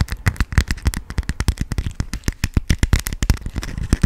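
A yellow honeycomb-print beeswax cotton food wrap is crumpled and crinkled in the hands and scratched with nails. About 28 quick, sharp crackles and crinkles follow one another in a steady, dense stream. Each snap is very short and dry with a thumpy low body.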